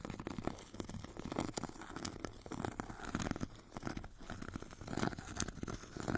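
A metal stick rubs and scratches across the purple abrasive grit layer of a solid, hand-held foot file with a white foam core. It makes a quiet, continuous gritty rasping dotted with many short crackling ticks, with brief bright scrapes and swells in intensity as the strokes move back and forth.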